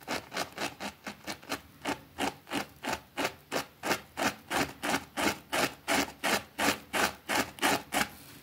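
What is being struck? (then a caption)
Small thin fabric rug scrubbed with a plastic brush. A white plastic brush scrubs the edge of a small, thin green fabric rug with a rabbit print, held down by a finger on a concrete floor. About 25 quick, steady back-and-forth strokes make bright, breathy rasping swishes at roughly three per second. Each stroke is dry and short, with no low rumble.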